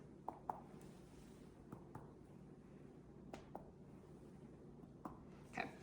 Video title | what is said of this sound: MSN610 Head to Toe | I should hear a tympanic noise indicating good air